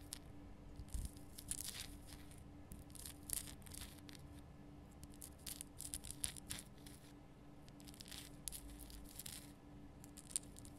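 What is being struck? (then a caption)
Rock-salt lamp. Long painted nails scratch the rough surface of a large, solid, lit pink rock-salt Himalayan salt lamp. The result is quiet, dry, bright scratching in short, uneven bursts, heard over a faint steady low hum.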